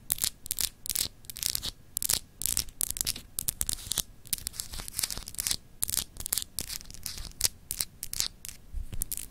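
Long acrylic nails scratch and tap the etched surface of a palm-sized solid clear glass globe paperweight. Quick bright, dry rasping bursts follow one another with almost no ring, over a faint low hum between strokes.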